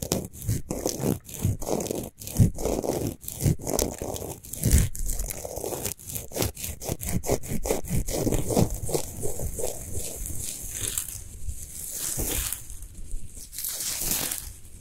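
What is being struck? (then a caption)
Rock salt sphere lamp. Long fingernails on both hands rapidly scratch and rub the sides of a large, solid pink Himalayan salt sphere lamp with its light off. Quick, gritty, dry strokes carry a bright hiss over a low rumble. Toward the end they blend into softer, continuous rubbing.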